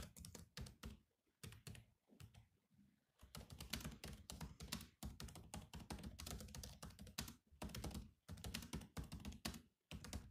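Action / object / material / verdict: tap / plastic laptop keyboard / plastic / none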